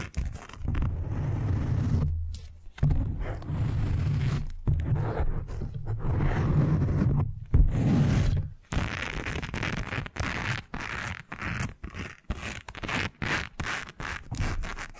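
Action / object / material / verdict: scrape / silicone face-scrubbing pad with nubbed bristles / silicone / none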